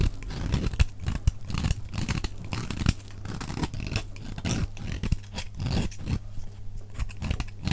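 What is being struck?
Soap bar shaved with a knife blade.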